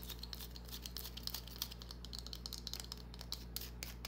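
Long painted nails scratch and tap a small, solid green bar of soap held in the palm. Quiet, dense, crisp scratching mixes with sharp, bright clicks that die away almost at once, over a steady low hum.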